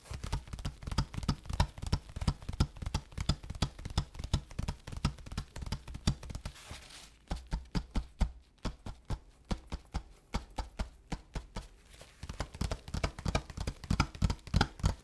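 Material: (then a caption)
Kraft paper. Latex-gloved fingertips tap and drum repeatedly on the padded surface of a large, flat, empty kraft paper bubble mailer lying on a desk. The taps are dull, low, muffled thuds with almost no ring, coming in quick, uneven bursts. There is a softer, sparser stretch in the middle before the drumming picks up again.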